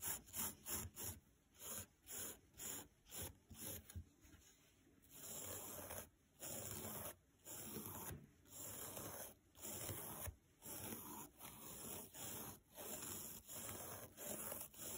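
A thin green nylon scouring pad, held flat on a wooden table, is rubbed back and forth with a spoolie brush. Quick, crisp scratching strokes come first, then slower, longer raspy strokes with short pauses between them. The sound is bright and dry, with a steady high hiss running underneath.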